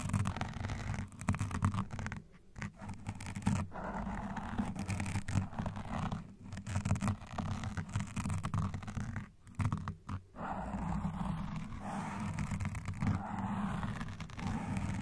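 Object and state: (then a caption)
Foam microphone windscreen being scratched. Long dark nails and nail rings scratch quickly at both sides of a black foam microphone windscreen at once. The result is a dense, muffled, low-heavy rustling scrape that runs almost continuously, with a few brief dips where the scratching pauses.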